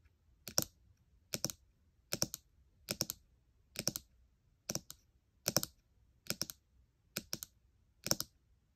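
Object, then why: Aluminium laptop keyboard and glass trackpad. Long nails and fingertips tap and scratch the glass trackpad and nearby keys of a gold MacBook Air, a thin aluminium laptop. Ten short, evenly spaced bursts of bright, crisp clicking each fade almost instantly into quiet.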